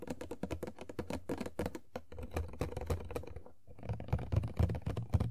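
Long nails tap rapidly and unevenly on the top and front of an empty, hollow printed cardboard Funko Pop toy box (Tuxedo Mask) with a plastic window. The taps are quick, dull, hollow knocks with a low body and almost no ring. After a brief lull near the middle, they return slightly louder.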